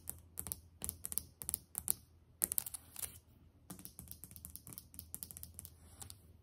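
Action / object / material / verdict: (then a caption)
tap / glazed ceramic tile countertop / ceramic / none. Long nails and fingertips tap on a solid white glazed ceramic tile countertop with grout lines. The quiet taps come in quick bursts and loose runs, each a short, bright click with almost no ring. A steady low hum sits underneath.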